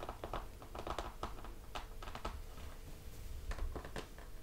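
Fingertips of both hands tap on the glossy laminated cardboard cover of a closed hardcover picture book resting on a table. The result is a quiet, irregular run of quick, soft taps that thud dully and fade almost at once.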